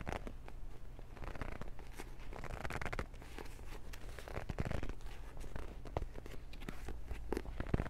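A Transformers paperback book with solid paper pages and a glossy cover is gripped in both hands while fingers scratch across the cover and spine. The result is a steady stream of dry, papery scratching and crinkling, with sharp brighter flicks over a constant low hum.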